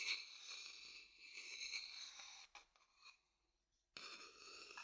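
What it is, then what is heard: Wooden bowl scraped inside. An empty, dark-brown hollow wooden bowl is held next to the mic while its inside is scraped with a wooden stick. A bright, hissy scraping runs for about two and a half seconds, gives way to a couple of short scrapes and a near-silent pause, then starts again abruptly just before the four-second mark and continues to the end.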